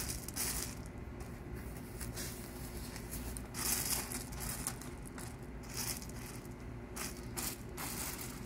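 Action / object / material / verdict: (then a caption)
scrape / small gravel pebbles being spread by hand / stone gravel / none. Gloved hands smooth and spread small, loose tan gravel pebbles of landscape rock in a curved bed bordered by pavers. A steady rubbing, scraping crunch of stones continues throughout, with repeated bright gritty bursts over a constant low rumble.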